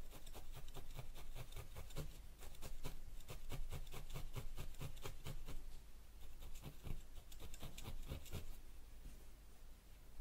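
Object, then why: Wool ball on a foam felting pad. A single felting needle held in the fingers repeatedly stabs a small yellow wool ball resting on a white foam felting pad. Each stab makes a quick, dry scratching tick with a soft low thump beneath. The stabs come in a steady, rapid rhythm that eases off toward the end.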